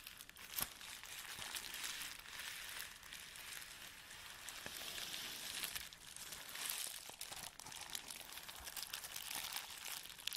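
Hands rub and press a clear plastic bubble wrap sheet on a table with their fingertips, folding it over partway through. The result is a steady, quiet, bright crinkling and rustling, dotted with sharp little clicks and snaps that die away almost instantly.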